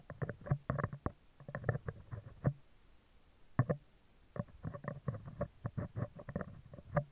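Metal tweezers scratch and tap the top of a hollow, round steel wire-mesh microphone grille. The result is clusters of quick, dull ticks and scrapes that are heavy in the low end, around 125 Hz. They come in bursts separated by short quiet gaps.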